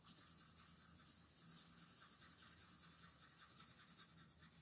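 A purple wooden colored pencil shades a thin paper coloring page that is held flat by one hand, rubbing back and forth across the sheet. The result is a quiet, steady, bright scratchy hiss in quick repeating strokes, about two or three per second, with a faint low hum underneath.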